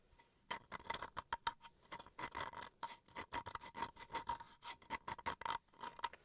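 Fingernails scratch and tap the grained face of a small, solid bamboo wood chopping board held in the hands. A quick, uneven series of dry, raspy scrapes and light clicks carries a faint pitched tone just under 1 kHz with bright edges. Each stroke stops almost instantly, with quiet gaps between bursts.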